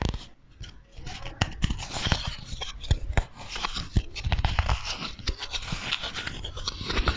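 Fingernails scratch and tap the face and edges of a small, solid, light wooden block or coaster held in both hands close to the microphone. Quick, dry clicks and low thumps stand out over a steady bright, rustling scratch, each tap dying away almost at once.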